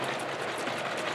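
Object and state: Nothing is struck.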